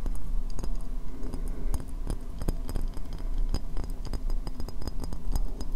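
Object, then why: Upturned ceramic bowl. Long nails tap and scratch the base and sides of a hollow, empty white ceramic bowl held upside down. A rapid, steady run of short, dry clicking taps sounds with scratchy brushing between them over a low, rumbling body. Each tap dies away almost instantly with no ringing.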